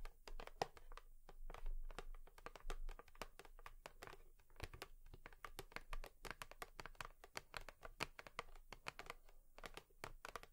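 Long nails tap rapidly on a cardboard tissue box, making a quiet stream of dry, crisp clicks and light scratches. Each tap is brief and bright with almost no ring, fading instantly between strokes.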